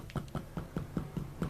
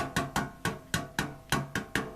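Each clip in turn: First: Seven quick, dull taps with a low thud near 170 Hz; the sheet-metal box barely rings, clearly damped. Second: Eight quick taps on a thin metal box give short, bright clanks with a tinny ring.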